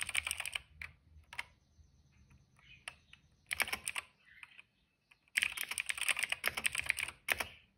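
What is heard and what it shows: Fingertips of both hands type fast on a cream plastic mechanical keyboard with black and purple keycaps and a hollow case. Bursts of bright, clacky keystrokes with a sharp, dry attack come in several flurries, separated by brief quiet pauses.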